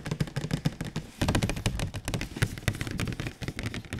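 Fingertips of a bare hand and a latex-gloved hand tap rapidly on a large, glossy, printed cardboard PS4 Pro box held flat, with its contents not visible. The taps sound like quick, soft, hollow thuds with a low, boxy resonance and faint bright clicks, each dying away almost instantly in a steady, dense patter.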